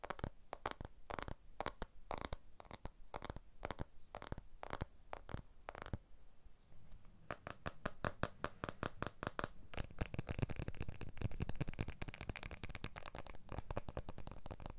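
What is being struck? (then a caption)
Smartphone with glass back and aluminium frame. A blue iPhone 12 with a glass back and aluminium frame is held in both hands and tapped with fingertips and nails, first along the edge-on frame and then on the glass back. The taps are short, dry clicks with a soft low thump and almost no ring, spaced out at first and then coming in a faster, denser patter with a brighter tick in the second half.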